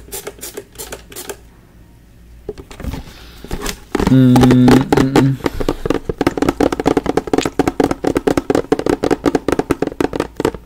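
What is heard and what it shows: A large clear plastic Fabuloso cleaner bottle with a pink spray trigger and yellow label, partly filled with liquid, is held in the hands and tapped and scratched with fingertips and nails close to the microphone. Dozens of quick, dry, irregular taps and scratches are heard, with a louder, sustained squeaky rub with a pitched tone around the middle of the clip.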